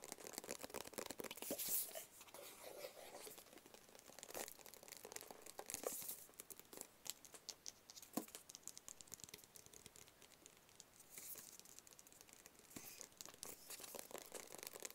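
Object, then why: Small closed cardboard box. A small, closed, hollow black cardboard gift box is tapped with fingertips on its lid and sides. Rapid, dense, crisp taps and light scratchy crinkles sound bright and dry, with very little low end and almost no ring after each tap. A few sharper taps stand out, with denser bursts throughout.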